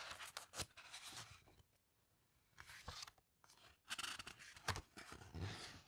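Fingertips with long pink nails turn a page of a large open coffee table book with thick, glossy paper pages, then rub and slide along the page surface. Crisp, bright papery rustles and scrapes come in bursts, with a soft low thump under some strokes and a short quiet pause in the middle.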